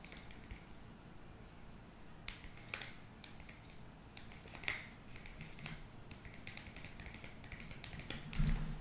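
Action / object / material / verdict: tap / foil-lined paper sachet / foil-lined paper / none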